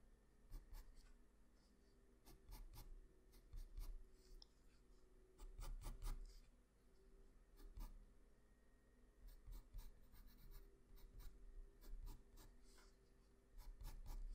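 A graphite pencil scratches and shades along the right edge of a sketch on a flat white sheet of drawing paper. Short, dry bursts of bright scratching come in uneven clusters over a steady low hum, with quieter gaps of lighter rubbing between them.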